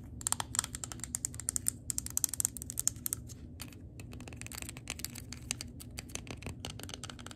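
A medium green-labelled glass jar candle, full of white wax, is held while long glitter acrylic nails tap and scratch across it. The result is a rapid, irregular stream of sharp, bright clicks and ticks with short, dry scratching between them. A steady low murmur runs underneath throughout.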